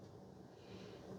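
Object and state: Nothing is struck.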